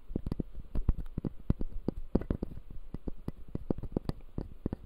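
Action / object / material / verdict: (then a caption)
tap / plastic dental model with acrylic base and plastic teeth / plastic / none. Fingertips scratch and tap the white plastic teeth of a closed, solid, clear acrylic dental model. A quick, uneven run of soft, dull clicks and brief scratches sits mostly in the low range, with each tap dying away almost at once over a faint rustle.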